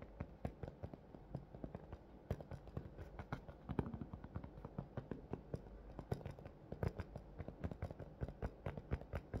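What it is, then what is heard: Clear plastic blister package, tapped with fingernails. Long fingernails tap rapidly and irregularly on the top of a large, hollow, thin clear plastic clamshell blister package holding a pink plush toy. The package lies close by, and the taps come as a quick, steady stream of short, dry, hollow clicks with a soft low body and almost no ring.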